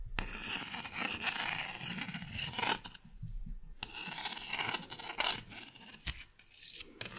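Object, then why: Thin plastic paddle. A purple pen tip scratches and taps across the surface of a small, thin, solid green plastic paddle-shaped object with a short handle, held in one hand. Bright, raspy scraping strokes come in bursts with short quiet gaps between them, mixed with sharp little taps.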